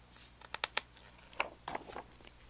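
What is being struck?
Glossy paper pages of a hardcover book.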